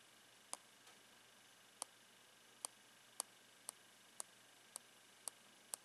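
A blue pen taps the plastic face of a hand-held clear plastic sock box with a black printed end panel. Nine sharp, bright clicks come at uneven intervals, each dying away almost instantly. A faint, steady hiss sits underneath.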